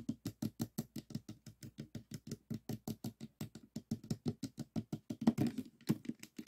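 Fingertips and thumbs tap on the top and side faces of a small stickerless plastic 3x3 puzzle cube with a hollow mechanism. About 41 quiet, dry, hollow taps centred near 227 Hz come in a loosely uneven patter of roughly two per second. Toward the end the taps crowd closer together and get a little louder.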